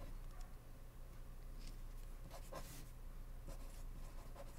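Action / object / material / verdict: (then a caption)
scrape / ballpoint pen on paper index card / paper / none. A blue ballpoint pen scratches across a small white paper index card lying flat on a wooden desk, held down by fingertips while writing. Quiet, irregular scratchy strokes flick brightly over a steady low hum.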